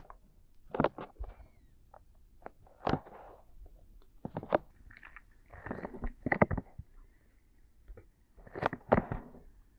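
Fingertips and palms cup and rub the soft silicone ear-shaped pieces of a 3Dio binaural microphone on a tripod in an ear massage. The result is close, muffled rubbing and brushing in short bursts and longer swells, with soft scratchy textures over a quiet background.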